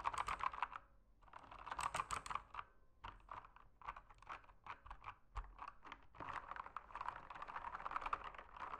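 Fingertips type rapidly on a backlit full-size mechanical keyboard with plastic keycaps, resting on a desk in a dim room. Dense bursts of sharp, clacky key presses with a mid-pitched click come in quick runs, broken by brief pauses near one and three seconds. Each keystroke is short and dry with almost no ring.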